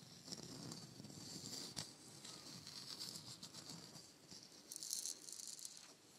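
A palm-sized, hollow, painted wooden shaker egg is tapped with long nails and shaken, making a quiet, bright rattle of dry, quick ticks and grains. The sound sits mostly in the high range with little low end, and a brief louder shake flares up near the end.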